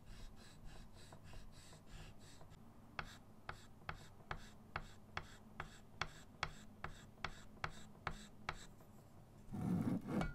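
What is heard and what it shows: A short stick of chalk held in fingers makes short scratching and rubbing strokes on a bird drawing on a small flat chalkboard in a wooden frame resting on a table. Soft, dry scratches give way to a steady run of sharp, bright ticks, and the clip ends with a low, broad rubbing sound.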